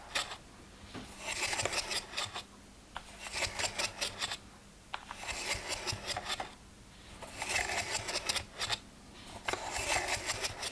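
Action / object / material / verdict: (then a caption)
scrape / plastic weekly pill box / plastic / none. Fingernails scratch quickly across the closed lids of a hollow plastic weekly pill box that has one row of lids open. The result is bright, raspy scratching in bursts separated by short pauses, over a faint steady low hum.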